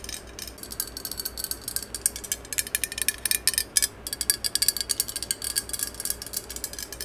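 Long yellow acrylic nails tap and scratch along the length of a hollow, hand-held green cylindrical metal aerosol spray can. Dozens of quick, bright, dry clicks and scrapes come in an uneven, rapid patter, pausing briefly around the middle before resuming. Each tap is sharp with almost no ring, with little low-end body beneath the high metallic ticking.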